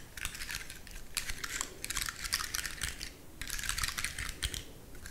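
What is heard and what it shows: Long fingernails scratch and crunch over the woody scales of a large dry brown pine cone held in the fingers. Bursts of dry, bright crackling and scraping come in clusters, with a brief quieter pause midway before the scratching resumes.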